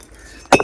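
Fired clay bricks are knocked against each other at a brick kiln, giving two sharp, glassy clinks with a ring centred around 560 Hz and bright overtones after a quiet lead-in. The clear ring marks them as well-fired, top-quality "boond maar" bricks.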